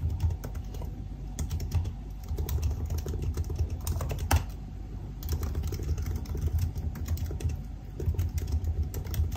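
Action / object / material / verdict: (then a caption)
tap / aluminium laptop keyboard with plastic keys / plastic / none. Fingertips type on the black plastic keys of a silver aluminium laptop, producing a steady run of soft, dull key taps. The taps are mostly low and thumpy, with occasional brighter clicks and a brief pause in the middle. A faint steady hum runs underneath.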